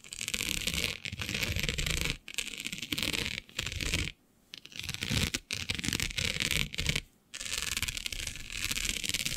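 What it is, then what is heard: Plastic mesh sheet being scratched. Fingernails scratch and rub across a flat black iridescent plastic diamond mesh sheet, making dense, bright, gritty rasping in bursts. Several short silent pauses break up the strokes.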